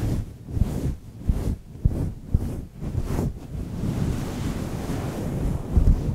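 Fingertips of one hand scratch the side of a fluffy grey faux-fur windscreen on a microphone. The result is a deep, rumbling whoosh that swells and fades in waves like wind or surf, with soft low thumps where the fingers press into the fur.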